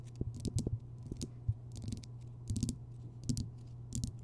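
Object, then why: Rock salt lamp. Long fingernails tap and scratch across the rough, crystalline surface of a large, solid Himalayan rock salt lamp that glows orange from a bulb inside. Quick, dry clicks and scrapes come in small clusters over a low steady hum near 110 Hz, each tap dying away almost instantly.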